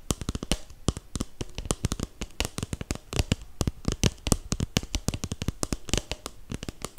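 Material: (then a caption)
Paper. A hollow, empty red snowflake paper cup, held upright, is tapped rapidly on its side with fingertips and nails. The result is a dense, uneven stream of dozens of dry, sharp clicks, each cut off almost at once, with a soft low thump beneath bright crackling edges.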